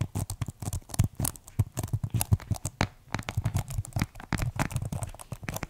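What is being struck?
Plastic keyboard keys and case.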